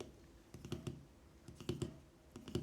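A plastic charging case for Pixel Buds wireless earbuds, which are also used to record, is tapped in quick clicky bursts. The clicks come in three short clusters with a brief, dry ring.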